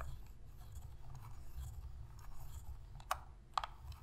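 Long pink nails scratch and press the buttons and sticks of a hollow black plastic Sony PS3 controller held in both hands. Soft, steady scratching and rubbing sit over a low rumble, and two sharp, bright clicks stand out near the end.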